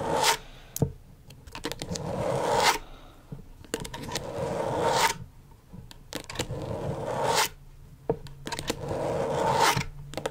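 Long stiletto nails scratch and tap quickly across the plastic surface of a flat, thin, backlit rectangular LED tracing pad. Bright, hissy scraping strokes swell and stop in repeated passes, broken up by sharp, dry clicks from the nail taps.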